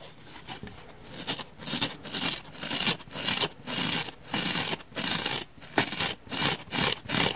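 Fingernails scratch into the surface of a rectangular, dark grey, open-cell foam block, about palm-sized and solid, held in one hand over a wooden table. The result is a run of dry, bright, hissy scratching bursts with a tearing, crinkly texture, separated by short pauses, with little low-end weight.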